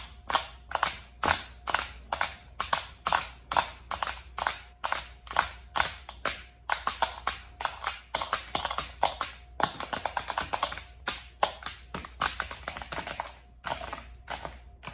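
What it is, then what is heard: Plastic serving tray tapped with nails. Long acrylic nails tap and scratch across the inner compartments and rim of a large, round, lime-green plastic serving tray with compartments, empty, hollow and thin-walled, lying on a table. A steady stream of quick, dry, bright clicks, each dying away almost instantly with a light hollow plastic tone. The taps crowd into a denser scratching patter near the middle before spacing out again.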